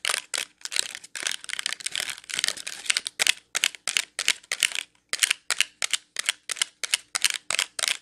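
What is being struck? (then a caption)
Clear plastic clamshell filled with wax cubes. Long nails tap and scratch a clear plastic wax melt clamshell packed with wax cubes, producing a rapid series of sharp, bright clicks with crisp scratchy textures and almost no low end. The hits come in quick bursts with brief pauses, each dying away almost instantly.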